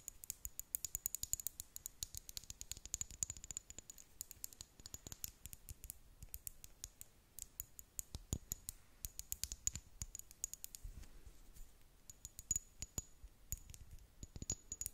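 Long nails tap and click on a small brown amber glass serum bottle with a dropper cap, filled with liquid. The bottle gives a dense run of quick, bright clicks with almost no ring, and a faint high, steady tone sits beneath them.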